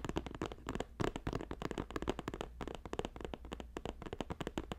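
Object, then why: Woven plastic strip basket. A hollow, box-shaped green basket woven from plastic strips, about 20 cm across, is held at the sides and tapped quickly with fingertips and nails. A dense flurry of short, dry clicking taps plays over a steady low hum, and each tap dies away almost instantly.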